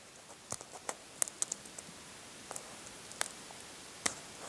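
Fingernails peel and scratch the remaining cracked shell of a brown hard-boiled egg that is partly peeled. About eleven short, sharp, bright clicks and crackles stand apart over a quiet background, with no low-end body and no ring after each snap.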